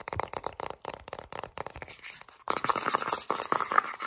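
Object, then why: Plastic jar with lid. Long nails scratch fast along the label and blue plastic lid rim of a full plastic Vaseline petroleum jelly jar as it is tilted in the hands. Quick, dry, raspy scratches come in rapid bursts, with a brief pause around two seconds. After the pause the scratching grows louder and denser, with a gritty midrange focus.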